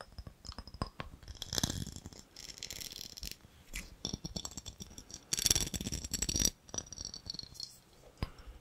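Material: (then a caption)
Glass. A small, empty, clear ribbed glass jar with a gold lid is held close and tapped and scratched with fingernails. Quick, light taps and bright, rattly scratching come in uneven bursts, with louder stretches of dense scraping between sharper isolated clicks.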